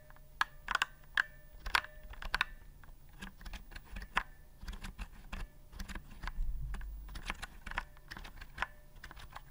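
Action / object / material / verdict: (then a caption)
tap / typewriter-style plastic keyboard / plastic / none. A retro typewriter-style keyboard with round chrome-rimmed plastic keys and a hollow body, held upright near the mic, has its keys pressed with fingertips. It makes an irregular run of sharp, clicky taps, each with a brief bright ring around 1.5 kHz, over a steady low rumble. The presses come in clusters of quick, clacky strokes that stop almost instantly.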